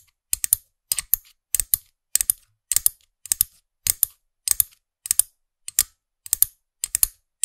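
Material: Hard plastic.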